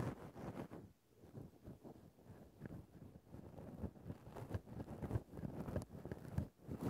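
A thin bamboo stick scratches a grey faux-fur microphone windscreen at different spots on the fur. The result is a muffled, low, rumbling rustle of irregular scraping strokes, mostly deep in tone, with brief quiet dips between bursts.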